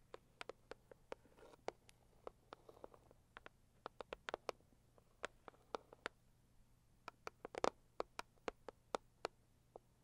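Long acrylic nails tap and scratch the lid of a closed, hollow, medium-size pink floral Saviland cardboard gift box. About 32 sharp, dry clicks come in quick irregular runs, with very short ring and a mostly midrange tone, against soft scratching. It is quiet overall.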